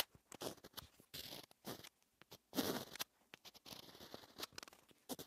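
A pointed wooden stylus scratches letters into the waxy black coating of a flat rainbow scratch-art paper sheet, exposing the colors beneath and leaving flakes of coating. Quiet, dry scratching strokes come in short bursts with some longer drawn lines, bright and hissy with little low end and no ring between strokes.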